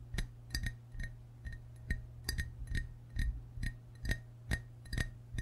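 Fingertips and short nails tap the white belly and green sides of a hollow glazed ceramic frog mug held in both hands. There are about 15 short, bright clinks at an uneven pace, each with a brief ring near 1.9 kHz over a steady low hum.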